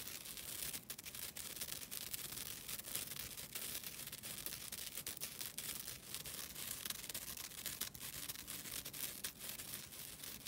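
A flat, thin green nylon scouring pad is held close and scratched with long dark-blue nails. The result is a steady, bright, raspy scratching that runs throughout with little low end.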